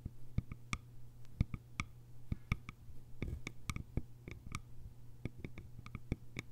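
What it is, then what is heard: Bamboo lidded container. Long nails tap the sides of a small, cylindrical, hollow bamboo container with a lid. A quick, irregular series of light, dry clicks follows, each with a bright tick and almost no ring. A steady low hum runs underneath throughout.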